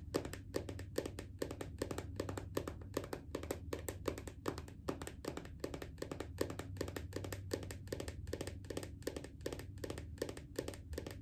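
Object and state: Lotion bottle.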